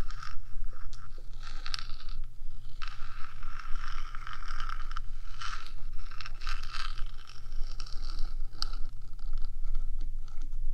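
Long fingernails scratch and tap across the top of the small, hollow, rectangular metal box body of a 3Dio binaural microphone, sometimes moving toward its edges. The result is a continuous bright, raspy scraping with quick clicking taps over a steady low hum.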